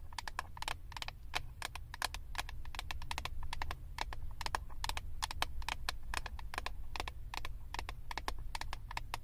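Long acrylic nails tap rapidly on the clear plastic lid of a flat eyeshadow palette. The taps are crisp, dry clicks with a bright edge and no ring, centered around 1 kHz, in quick irregular bursts over a steady low hum.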